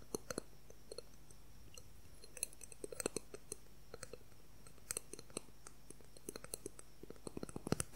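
A clear, transparent plastic ruler is tapped and scratched quickly with fingernails close in front of the recorder. Dozens of sharp, dry clicks and ticks come in irregular bursts, each dying away almost instantly over a quiet, steady low hum.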